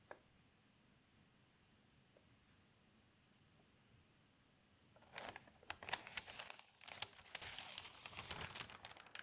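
A thin newsprint newspaper lies open while fingers with long nails lift a page corner and turn it, crinkling the paper. After about five seconds of near silence with a faint tick at the start, bright, papery rustling and crackling build up and continue, with sharp crinkles, until the end.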